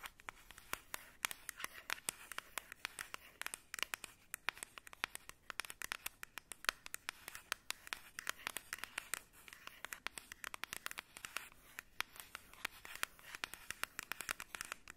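Long red nails scratch and tap along the printed surface of a white, squeezable, partly full Embryolisse plastic face-cream tube held in both hands. The result is a rapid, dense stream of dry, bright clicks and scratchy rasps, each dying away almost instantly, with very little low end.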